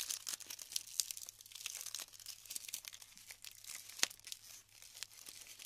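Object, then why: Glued styrofoam bead clusters. Fingers rub and break apart clusters of glued styrofoam balls, making a dense, quiet run of bright crackles, crinkles and squeaky tearing sounds. Several sharper pops stand out, with the loudest snap near the four-second mark. The sound sits almost entirely in the high range, with no low end.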